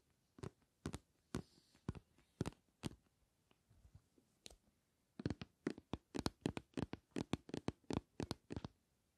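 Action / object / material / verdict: tap / plastic bottle filled with gel / plastic / none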